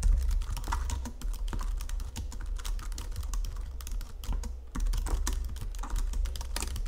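Long fingernails type rapidly on a white plastic Logitech full-size computer keyboard under green lighting. A steady stream of sharp, bright key clicks rides over a strong low hum.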